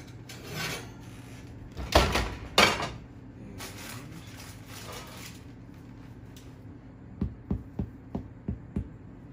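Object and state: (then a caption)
Sourdough loaf, hollow (baked through). A sourdough batard made from a homemade starter, baked at 450 degrees with the bake extended to 30 minutes, is handled with loud scraping and rubbing bursts, followed by softer hissy rustling. Six quick, dull taps then sound on the loaf's underside. The loaf sounds hollow and is judged done.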